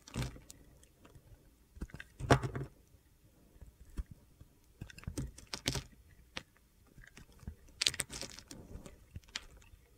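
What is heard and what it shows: A utility knife blade carves and scrapes flakes off a solid light blue soap bar with a dark blue base, held in the hand. Irregular dry, crunchy scraping bursts and short gritty ticks sound close and quiet. Brief louder scrapes stand out near the start, middle and end.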